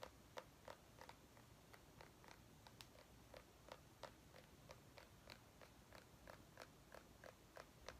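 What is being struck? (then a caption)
Small white pumpkin. A small white ribbed mini pumpkin held in one palm is tapped with the long painted nails of the other hand. About 23 quick, dry, clicky taps come at an uneven pace of roughly three per second. Each tap is quiet and dies away almost instantly.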